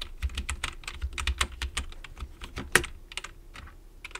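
Fingertips type on a black plastic computer keyboard, with one hand briefly moving to the right-side keys. About twenty short, dry, bright key clicks come in quick, uneven bursts, with one sharper, louder click near the end. A low steady hum sits underneath.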